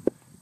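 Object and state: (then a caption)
Hollow buried metal tin. A large buried metal cupcake tin, holding a buried pet rat, is tapped while being dug up at an old homesite. The tap is a short, sharp, midrange knock that dies away almost at once, over faint background noise. It sounds hollow, as if something is buried inside; the tin is left unopened.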